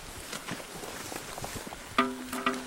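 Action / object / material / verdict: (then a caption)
strike / bark-textured petrified stone / stone / ringing. A bark-textured petrified stone near Kazan is struck twice after a stretch of faint outdoor rustling. Each strike gives a bright, metal-like ring with clear harmonic tones around 250 Hz that fade quickly. The ringing comes from harmonic resonance, which is unusual for a stone.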